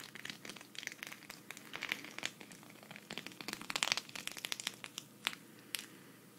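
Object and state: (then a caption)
Sequin fabric patch scratched. A flat, thin, hand-sized green sequin cactus patch is held in both hands while long red nails scratch and flip its sequins. Quick, bright, crinkly clicks and rasping scratches come in a dense, uneven stream, each snapping off almost at once, with almost nothing in the low end. The result is a soft, crackling shimmer of tiny sequin clicks.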